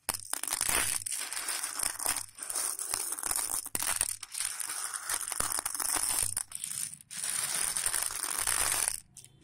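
Fingertips of both hands rub, press and stir a large heap of hard, dry raw elbow macaroni against a patterned plate. The result is a steady, bright, crunchy rustling with brief pauses between strokes, fading to near quiet at the end.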